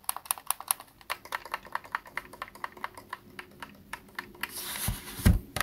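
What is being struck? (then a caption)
Plastic game controller. Fingertips tap the body and buttons of a hollow white Xbox plastic game controller lying on a desk. A quick, steady run of light, dry clicking taps sounds, each one short and bright with almost no ring. Near the end, a brief rustling hiss builds and gives way to a couple of heavier, low thumps.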